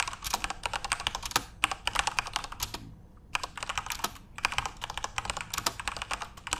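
Fingertips type continuously on a backlit plastic Corsair mechanical RGB keyboard, producing a rapid stream of sharp, bright key clicks and clacks. The typing pauses briefly midway, then resumes at the same quick pace.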